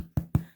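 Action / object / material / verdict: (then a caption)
knock / bread loaf / bread / baked. Two dull, low thumps come from tapping a baked-through loaf of sandwich bread. The deep, hollow sound shows the loaf is fully baked and ready.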